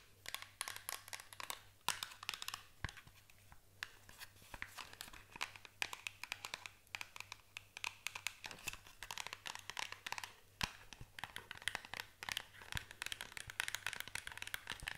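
Long nails tap and scratch on a small paperboard box as it is turned. The result is a fast, dense run of dry, bright clicks and scrapes with no ring, over a faint steady low hum.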